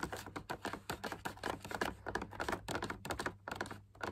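Fingertips and short nails tap rapidly on the inner wall of a large hollow drum lamp shade made of fabric laminated on a stiff backing, with punched dot patterns and a white wire frame. The result is a quick, uneven run of soft, papery clicks and muted thumps, centered in the midrange around 1.7 kHz, each dying away almost at once.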